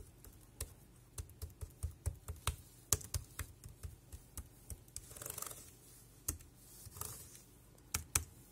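Fingertips type on the keys of a dark grey plastic wireless keyboard, giving about 15 short, sharp key clicks with a low thud under each and a bright top. Two brief, soft hissy swishes rise between the keystrokes.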